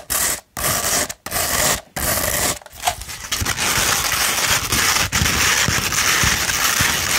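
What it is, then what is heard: Sandpaper sheet. Long pointed red nails scratch a sheet of No. 150 grit sandpaper that is rolled into a hollow tube and held in the hand. The result is a bright, gritty rasp: first a few long strokes broken by short silent pauses, then a steady run of rapid scratching with quick scrapes throughout.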